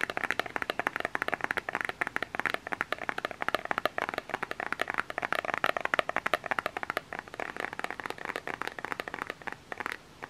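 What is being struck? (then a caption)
Small plastic bottle. A small plastic lotion bottle with an orange cap is held close and tapped with fingernails. A rapid, continuous stream of short, dry clicks with a hollow plastic tone in the midrange and bright edges runs for about ten seconds, each tap stopping almost instantly.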